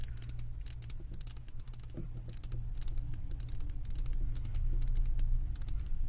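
Long acrylic nails tap quickly on the thick glass base of a wax-filled glass candle jar. The taps are light, sharp and bright, coming in an irregular, fast patter over a steady low hum. The tapping grows slightly louder toward the end.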